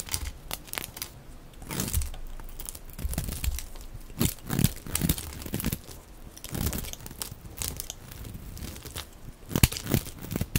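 A dry, cream-colored solid soap bar with a label is held in the hand and shaved with a utility blade into thick, crumbly curls. Rough scraping and cutting strokes give a dense, low crunching and crumbling sound, with bright, tearing crackles as each curl breaks away. The strokes come in uneven bursts.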